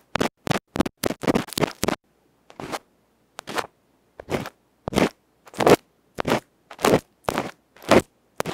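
A bamboo ear pick scrapes across a small hollow aluminium electret microphone capsule with a black felt face, held in fingertips. It makes a run of short, dry, scratchy bursts, rapid at first and then spaced by brief silences. Each stroke is bright and crackly, cut off with no ring.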